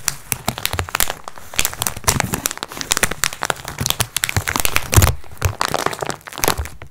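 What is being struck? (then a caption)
Multipack wrapped in thin plastic film. A flat "Multi Pack x4" package wrapped in thin crinkly plastic film lies on a wooden table while hands squeeze it and long nails scratch the wrapper. Dense, sharp crinkles and scratchy crackles come in quick bursts over a low thudding rumble, with bright high edges on each crinkle. The plastic rustle is busy and continuous, with brief pauses between squeezes.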